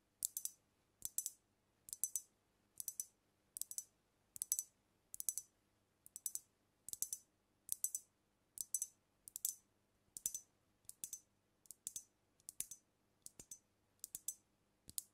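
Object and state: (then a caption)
Glass bottle tapped with fingernails. Long nails tap rapidly on a brown glass cognac bottle held tilted over the microphone. The taps come in quick clustered bursts at a steady pace, each one a bright, high, short click with almost no ring. It is quiet overall, with nothing low in the sound.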